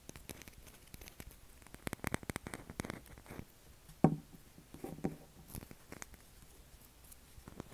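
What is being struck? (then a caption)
Bar of soap. A pale blue solid oval bar of soap, held in both hands, is scratched along its face and edge with short fingernails. Quiet, dry scratching and patter sounds run through the clip, with a louder, duller knock around the middle and a softer one shortly after.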